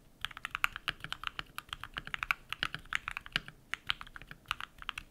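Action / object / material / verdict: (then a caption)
tap / mechanical keyboard with PBT plastic keycaps / plastic / none. A compact modded mechanical keyboard with white PBT plastic keycaps and lubed switches is typed on rapidly with bare fingertips. A steady stream of short, crisp clacks comes through, bright and centered in the upper mids with very little low end, each keystroke dying away almost instantly.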